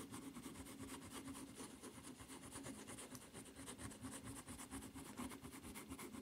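Long nails slowly scratch the footbed of a white rubber flip-flop with a red strap. The result is a steady, soft, raspy scraping that repeats in quick strokes, with a low hum underneath and faint bright fizz on top.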